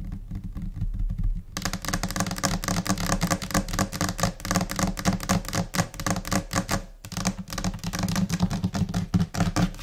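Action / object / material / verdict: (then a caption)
tap / laminated particleboard desk top / laminate / none. A large, flat white desk top, possibly laminated particleboard, is tapped with long nails and the finger pads of both hands. After a quiet low hum for the first second and a half, rapid, scattered taps break out in chaotic rhythms, briefly pausing just before seven seconds. The taps are short and dry over a steady low hum.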